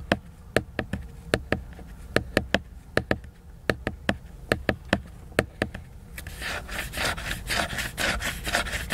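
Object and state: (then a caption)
Laminated cardboard hardcover book. Fingernails tap a large, solid, flat laminated cardboard hardcover book in a series of short, sharp, dry clicks for about six seconds. They then scratch and rub its glossy cover, making a dense, bright, rasping texture that continues to the end.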